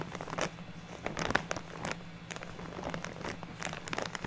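Fingertips and nails rub and scratch across a large purple-printed plastic bag full of white fake snow fiber, with hands resting flat on the bag. The result is a soft, continuous crinkling and scratching with brief bright rasps over a steady low hum.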